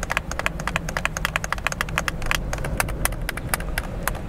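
Thumbs quickly press and click the buttons of a hollow, handheld white plastic game controller held close to the face in both hands. The result is a fast, irregular run of short, dry, bright plastic clicks over a steady low hum.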